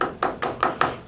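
Five taps on another part of the casing of a Pioneer VSX-915 (2005) stereo receiver, each a sharp metallic tick with a ringing tone around 1.25 kHz and a bright upper shimmer that fades quickly. The casing proves to be solid brushed metal, not plastic.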